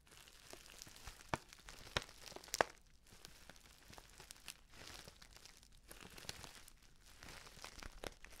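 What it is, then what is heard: Paper tea pouch crinkled. Fingers scratch and squeeze the edge of a filled, orange-printed stand-up paper tea pouch, producing dense, quiet crinkling and scratching. A few sharper, brighter crackles stand out in the first three seconds before the texture settles into softer, steady rustling.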